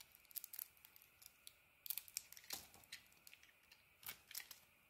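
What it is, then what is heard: Bar of soap being carved. A metal blade carves and scrapes slices from a solid, hand-sized bar of soap with a pink textured outer layer and an orange interior, held in one hand. The result is a quiet series of crisp, bright scraping and cutting bursts with almost no low end and very little ring after each stroke.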